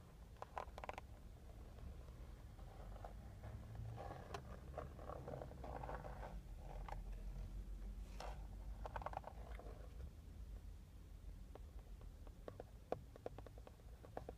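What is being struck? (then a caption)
Plastic steering wheel airbag cover. Fingertips and short nails tap and scratch the hard plastic airbag cover at the center hub of a car steering wheel, a hollow panel with a metal logo. Quiet, irregular dry clicks and scratchy rustles sit over a low rumble, with short bursts of brighter scraping in the middle and sharper isolated taps toward the end.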